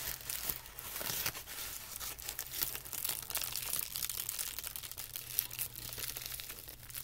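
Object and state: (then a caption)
Tissue paper being crinkled. Hands rub, smooth and fold a thin, wrinkled sheet of white tissue paper laid on carpet. The result is a steady, quiet stream of bright, dense crinkling and rustling with small sharp crackles throughout, over a faint low hum.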